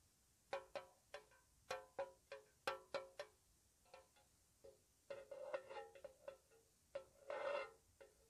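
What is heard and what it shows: A small, hollow, square white-painted metal tea tin is tapped with long nails in a slow, soft, uneven rhythm. Each tap gives a short, bright metallic tick with a tonal ring centred around 550 Hz. Near the end come quicker clustered taps and a brief rustling scratch.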